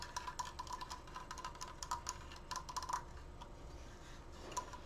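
Fingernails tap quickly on the side slats of a large, open, triangular wooden Triforce frame. The result is a fast, uneven run of dry, clicky taps with a faint ringing tone near 1 kHz and bright edges. Each tap dies away almost at once over a steady low hum.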